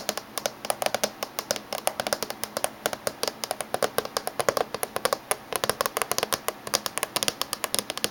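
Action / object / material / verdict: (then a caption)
tap / closed laptop casing / unknown / none. Fingernails tap rapidly on the surface near the edge of a closed silver laptop with a hollow body. The result is a steady stream of dozens of short, crisp clicks that stop almost instantly, with bright upper tones and a slight hollow resonance.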